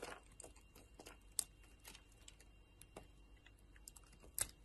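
A utility knife blade carves crumbly shavings from a solid yellow soap bar with purple remnants, held in the hand. Soft, dry scraping and crackling ticks come in quick irregular bursts, with two sharper, bright snaps standing out. Each sound is quiet and dies away almost instantly.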